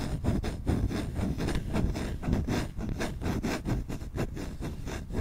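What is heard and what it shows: Fingertips scratch fast and hard across the bowl of a solid wooden spoon held right at the microphone. The result is a dense, continuous rasping with quick repeated strokes and a heavy, boomy low end from the close placement. There is very little bright detail.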